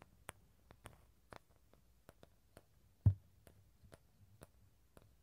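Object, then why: Halved dried bottle gourd shell. Fingertips and nails tap and scratch the outer shell and rim of a small, hollow, halved dried bottle gourd with a tan shell and empty inside, held over the recorder mics. About 14 short, quiet clicks and ticks are spread evenly across the clip, with one louder, deeper hollow knock near the middle. Each sound dies away almost at once.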